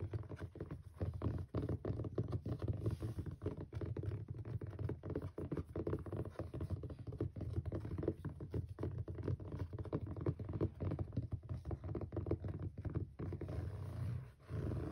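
Fingertips and short nails of both hands tap and scratch across the front cover of a closed purple hardcover bullet journal with an elastic band, lying flat on a white surface. Dense, rapid, dull taps and soft scratches patter continuously with little ring, mostly low and muffled, with a brief dip in activity near the end.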